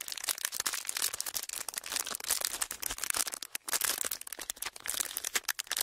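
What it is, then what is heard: Clear plastic wrapper crinkling. A small, folded clear plastic wrapper is squeezed and rubbed between fingertips. It makes a steady, dense crinkling of bright, sharp crackles with almost no low end, swelling and easing in loudness throughout.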